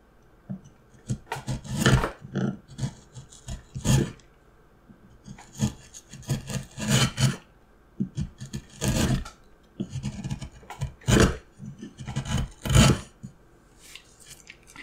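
A steel gouge carves and scrapes relief into a solid, hand-sized, light pine wood block in repeated cuts, with shavings surrounding the block. Short bursts of scraping and rasping rise and fall in clusters, each with a broad, bright hiss over a low woody body. Quiet pauses fall between groups of cuts.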